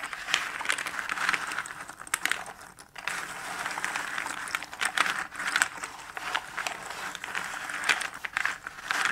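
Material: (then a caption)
Cardboard. Fingertips rummage through small cardboard jigsaw puzzle pieces scattered in a shallow cardboard box lid, pinching and stirring them. The result is a continuous dry, crinkly rustle full of quick, bright clicks and ticks, centered in the upper mids with almost no low end. Louder bursts rise and fall as the pieces are stirred.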